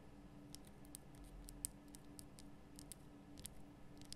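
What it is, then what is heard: Himalayan salt lamp. Long nails tap the top and sides of a large, lit pink Himalayan rock-salt lamp, a solid rough crystal block. About a dozen short, bright clicks sound with no ring, over a quiet, steady low hum.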